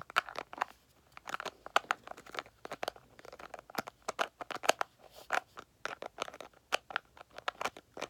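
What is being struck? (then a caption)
Small plastic cream jar tapped and scratched with fingernails. A small, round, white L'Oreal Revitalift cream jar, a hollow container that is likely plastic, is held in both hands and rapidly scratched and tapped with long manicured nails. It makes about thirty quick, dry clicks and scratchy crackles in uneven bursts, centered in the midrange with no low end. Each tap stops dead with no ring.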